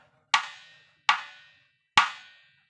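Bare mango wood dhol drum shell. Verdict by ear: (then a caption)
Resonant. A bare mango wood dhol drum shell is tapped three times, and each tap gives a sharp woody knock that rings on with a bright tone centred near 1.1 kHz and fades over about half a second. The taps show the shell is resonant and gives a ringing sound.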